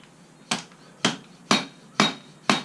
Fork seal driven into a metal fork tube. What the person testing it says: you want to put it on concrete so you can hear that solid sound. That's how you know it's seated.